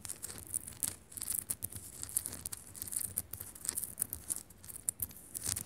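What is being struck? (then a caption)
Rock-salt lamp. Long nails scratch quickly across and tap on the surface of a solid pink Himalayan rock-salt lamp. The result is a quiet, bright, hissing rasp broken up by many short, dry taps with almost no ring.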